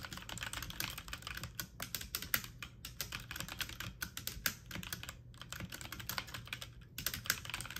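Fingertips and medium-length nails type fast on a full-size backlit mechanical computer keyboard with plastic keycaps. A dense, steady stream of bright, clicky plastic taps runs throughout with a few brief pauses, and each short keystroke dies away almost instantly over a faint low hum.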